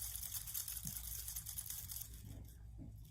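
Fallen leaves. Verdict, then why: Dry. Old, dry fallen leaves picked up from the ground in a park are shaken, making a quiet, dry crinkling and rustling over a low background hum. The rustle is brightest in the first two seconds and fades toward the end.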